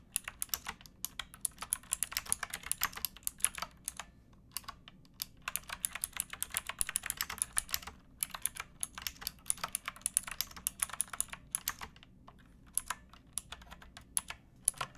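Fingertips with painted nails type on a pink backlit plastic mechanical keyboard with round keycaps and a hollow case, resting on a wooden box. A steady stream of short, bright plastic clacks comes in quick bursts, with brief pauses around the 4- and 12-second marks and a soft low rumble underneath.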